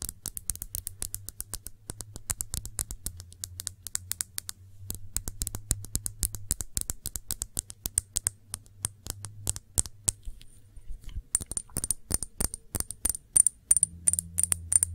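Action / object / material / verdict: tap / small glass shot glass / glass / none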